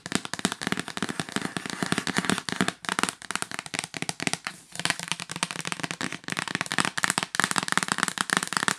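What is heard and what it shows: Long nails tap rapidly near the top edge of the lid of a hollow yellow L'Occitane cardboard box lying flat on a bed. The result is a fast, steady stream of sharp, dry, bright clicks with almost no ring. There is little low end, and only brief dips break up the constant tapping.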